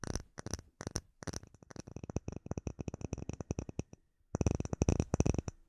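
Short nails and fingertips tap a flat, solid, clear acrylic plate about hand size with embedded bubbles. Quick runs of light, dry taps pause briefly near 1 and 4 seconds. Each tap is a low, hollow knock with a faint bright click that dies away almost at once, and the final burst is louder.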